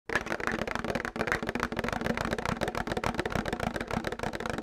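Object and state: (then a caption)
Plastic milk jug. Fingernails tap rapidly and continuously on a plastic milk jug, making a dense stream of short, hollow plastic clicks. The taps blur together with no clear gaps, and a faint low hum sits steadily underneath.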